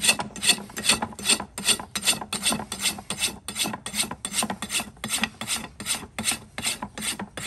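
A steel rasp is scraped back and forth along the outer wall of a shod horse hoof, solid keratin, resting on a metal hoof stand. The strokes make a steady, bright, gritty rasping at about two and a half strokes per second, each ending abruptly with no ring. Shavings fall off the hoof wall.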